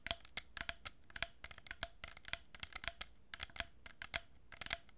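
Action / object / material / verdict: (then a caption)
scrape / cardboard tube with plastic pearl beads / cardboard / none. Long nails scratch and tap a hollow cardboard tube with a row of plastic pearl beads, held horizontally. A quick, irregular series of short, dry, bright clicks and scratches, each dying away almost instantly, sits over a faint low hum.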